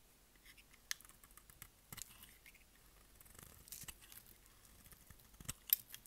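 A utility blade shaves curls off a hand-sized, solid, oval green Dalan dry bar soap held in the palm. The result is quiet, dry, bright scraping and crackling, with short, sharp cutting strokes scattered through the clip and a louder snap near the end.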